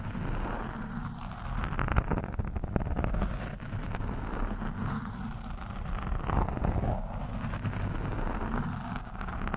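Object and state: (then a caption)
Foam microphone windscreen being scratched. A thin steel screwdriver shaft scratches and pokes at a soft, porous orange foam windscreen on a microphone. The result is a dense, continuous rumbling crackle that sits mostly in the low range, with fast rough scraping textures and slightly louder bursts of poking throughout.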